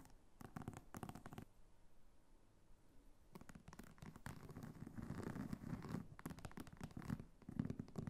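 Long nails scratch and tap the textured sides and top of a small red croc-embossed faux leather clutch. The result is quiet, dry, irregular scratching and clicking in bursts, with a low body and brief bright ticks, separated by near-silent pauses.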